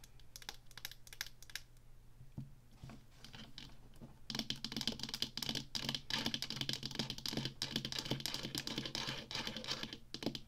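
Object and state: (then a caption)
Plastic joystick controller. Long nails tap rapidly on the sides of a small, hollow, black plastic Atari joystick held up in the air, producing dry, clicky plastic taps. The taps are light and sparse for about the first four seconds, then become louder and denser through the end, over a faint steady low hum.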